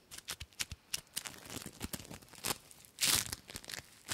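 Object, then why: Foam bead slime. Yellow and blue foam bead slime (floam) is held between the fingers and kneaded, pressed and pulled with fingertips and dark painted nails. It makes quick sticky, crunchy popping and crackling sounds, bright and sharp with little low end, and a louder crunchy burst near the three-second mark.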